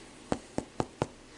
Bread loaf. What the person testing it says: sounds Hollow it's done